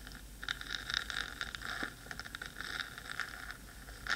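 Long pointed nails scratch the black metal body of a 3Dio microphone, making a steady run of short, dry scraping strokes. The scratches have a bright, gritty edge with no ringing and sit over a low, constant background hiss.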